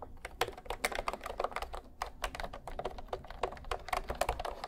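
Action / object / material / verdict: tap / plastic keyboard with round keys / plastic / none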